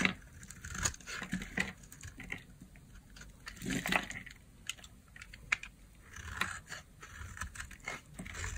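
A blade scrapes and shaves a solid, hand-sized peach bar of dry soap held in the palm by long nails, curling it into flakes. Many short, dry, crisp scraping and crackling strokes come one after another, with bright high edges and quick decay.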